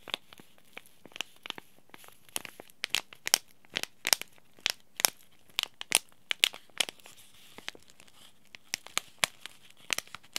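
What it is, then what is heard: Paper-foil tea bag sachet. Fingertips crinkle a small white Yogi Tea Throat Comfort sachet, a paper-foil laminate pouch holding a tea bag, and flex its corners. A rapid, irregular series of sharp, bright crackles and crinkles rises over a quiet background, with almost no low end and no lingering ring.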